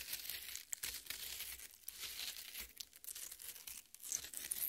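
Long nails dig and scratch into the red flesh of a half watermelon. The result is a continuous, quiet, bright crackling and tearing texture with little low end, broken by small sharp crunches that rise and fall over a few seconds.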